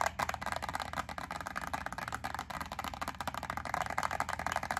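Long acrylic nails rapidly tap and scratch a small clear plastic clamshell wax melt pack holding wax cubes, its yellow label side facing forward. The result is a dense, continuous run of dry plastic clicks and scratchy rustling centered in the midrange around 1 kHz, with very little low end and almost no ring after each tap.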